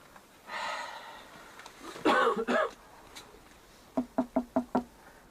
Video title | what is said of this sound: Documentário a Arca de Noé foi descoberta_ Expedição da Nami no Monte Ararat | it's wooden it's not a rock you hear that